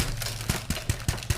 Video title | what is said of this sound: Spring Ahead with the latest episode of Cooking with the Keefe's! St Patrick's Day Dinner | Sounds like a hollow sound. That way you know that everything's kind of baked and done and ready to go.